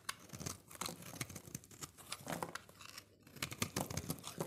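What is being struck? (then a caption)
Bar of soap scraped with a metal blade. A solid oval pink soap bar held in the hand is shaved and scraped with a metal utility-knife blade, so shavings crumble off. The scraping comes as a dense run of short, crisp, dry strokes with a bright crackle. A brief quiet gap falls near the three-second mark before the scraping resumes.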